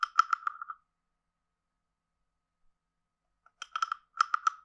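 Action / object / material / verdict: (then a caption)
scrape / carved wooden frog guiro / wood / none. A hand-sized hollow carved wooden frog guiro is played with a wooden stick, scraped along its ridges and tapped. About twelve short, dry, woody clicks with a hollow tone near 1.3 kHz come in two quick bursts separated by nearly three seconds of silence. Each click dies away almost at once.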